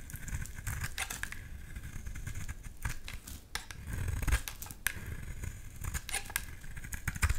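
A solid dark green oval bar of soap, held in the hand, is shaved with a utility knife blade, sending curls falling. Short, crisp scraping strokes with bright, high edges repeat in quick succession over a steady low rumble, with a few sharper peaks near the end.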